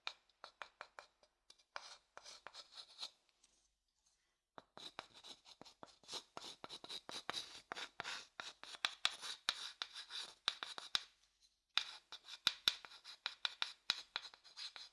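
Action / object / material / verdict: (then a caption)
scrape / wooden bowl and wooden stick / wood / none. A thin wooden stick rubs and scrapes the inside of an empty, pale, hollow wooden bowl, moving toward the mic. Quick, dry, bright scratches with a tone near 3.5 kHz come in clustered bursts with almost no low end. They pause briefly around 3–4.5 seconds and again near 11.5 seconds, then grow denser and louder.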